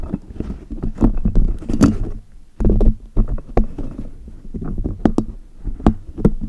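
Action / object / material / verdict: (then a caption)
scrape / spiky rubber massage ball / rubber / none. Fingertips and long nails scratch and tap the spikes of a small neon-green spiky rubber massage ball, likely hollow. Dull, low-heavy taps and soft scratchy rustling come in quick, uneven bursts. Each tap dies away at once, with no ring.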